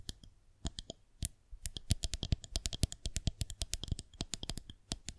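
Long nails tap across the top of a solid white plastic rolling pin held horizontally, then tap and scratch at it from below. The result is a quick, irregular run of dry, bright clicks with a low thud beneath each one, and every tap dies out almost instantly with no ring.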